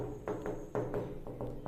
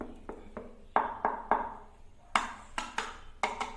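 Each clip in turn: First: Quick, short knuckle taps on tiled wall stay tight and dull, with no hollow boom: the tiles are solid. Second: About ten short, dry knocks on floor tiles; several sound hollow, showing poorly bonded tiles.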